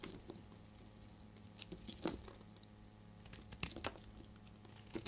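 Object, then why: Bar of soap scraped with a blade. A solid, dried, deep red bar of soap is held in the hand and scraped and shaved with a utility blade. It gives off soft, dry crumbly scraping and crinkling with scattered sharp, bright crunches as flakes break away, over a low steady hum.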